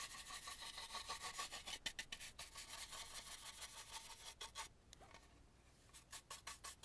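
A small stencil brush scrubs the inside and the edge near the string of a hollow, carved and painted antique wooden mask during dusting. Quick, brisk bristle strokes make a dry, bright, scratchy rasp, with a brief softer stretch near the five-second mark before the strokes pick up again.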